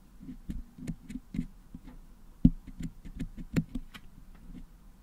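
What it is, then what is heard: Putty-covered metal microphone grille. A wooden toothpick picks at the top of a Blue Yeti microphone's hollow metal mesh dome, which is packed with red and blue putty, to clean the putty out. A series of quiet, dull, low-pitched taps and scratchy clicks is heard, each dying away almost at once, with a couple of louder, sharper picks partway through.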